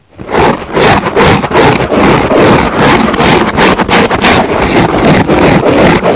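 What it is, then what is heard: Foam sponge scratched. Long nails of both hands scratch a large, yellow, porous foam car sponge lying flat with a microphone resting on it. Close, dense scraping and rubbing strokes repeat in a loose rhythm, with a broad hiss reaching up into bright highs. The level stays loud and nearly continuous, dipping briefly between strokes.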